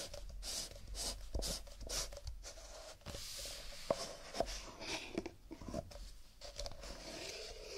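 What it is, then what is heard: Stack of nested paper cups. A stack of nested, empty disposable paper coffee cups is held horizontally above a wooden table while fingertips in fingerless gloves rub, scratch and tap along the cup walls and rims. The result is a steady, irregular stream of hollow, papery scratching with bright hiss, punctuated by short, dry taps that die away almost instantly.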